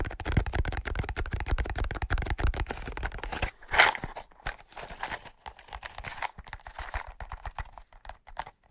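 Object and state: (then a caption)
Cardboard matchbox. Fingertips tap and scratch a large, hollow cardboard matchbox on its top and its striker side. The first half is a rapid run of dry, hollow taps with a deep, thumpy body. After a brief louder scratch, it moves into quieter, rough scratching with scattered light taps.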